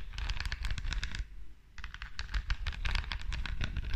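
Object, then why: Rhinestone-covered perfume bottle. Long dark nails tap and scratch rapidly over the green rhinestone face of a small, flat perfume bottle with a silver metal frame, held beside the microphone. The result is a dense stream of crisp, bright clicks and scrapes over a low rumble, with a brief pause partway through before the tapping resumes.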